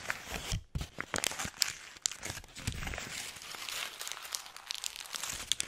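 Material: Paper.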